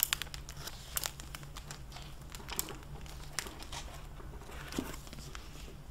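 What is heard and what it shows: Hands with long painted nails open a medium, solid hardcover library book in a clear plastic (mylar) dust-jacket cover, bending the cover and turning pages. The plastic crinkles and crackles in bright, sharp bursts over a steady low hum, with a few louder crisp snaps standing out.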